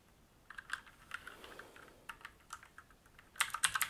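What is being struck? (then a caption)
Mechanical keyboard with plastic keycaps and metal top plate. Fingertips type steadily on a black mechanical keyboard with plastic keycaps and a metal top plate, set on a wooden desk. Short, sharp, bright clacks with almost no low end begin after a brief quiet moment, then come in a faster, louder cluster at the end.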